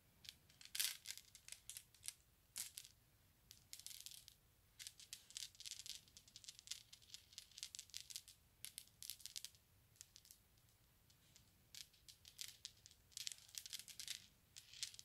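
A flat palm and fingertips roll and rub a small cluster of solid glass marbles together on a grey carpet, making them clink and rattle. The sound is a quiet, dense stream of sharp, bright clicks with almost no low end and very short ring. The clicks come in irregular bursts, with a brief lull partway through.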